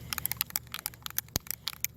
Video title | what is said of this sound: Let's Freshen up our Patio Furniture! | can you hear that little rattle in there